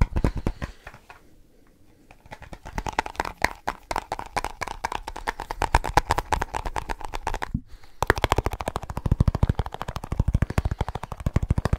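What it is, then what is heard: Tapped snus container. A small snus container is tapped rapidly with the fingertips, producing a fast stream of short, dry, low-heavy clicks with almost no ring. The tapping briefly softens early on and stops for a moment around the eight-second mark, then resumes louder and denser to the end.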